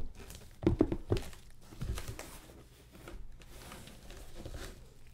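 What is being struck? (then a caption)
Corrugated cardboard box. Gloved fingertips tap and scratch the top of a medium, closed, hollow corrugated cardboard box sealed with clear packing tape and lying on a table. A quick cluster of dull, hollow thumps lands early, followed by softer scratchy rubbing and faint low taps that fade into quiet.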